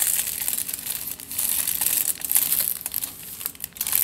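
Fingertips and nails scratch along a crumpled aluminium foil tube, crinkling the foil. A dense, bright crackle fills the clip, with rapid short crinkles rising and falling in level and almost no low end.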